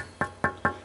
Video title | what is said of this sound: Deming Water Pump To Steam Engine Pt8 | almost sounds like glass but uh it's so hard